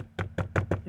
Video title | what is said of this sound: 2019+ Acura RDX Dash Rattle Fix. | you can kind of hear it rattling a little bit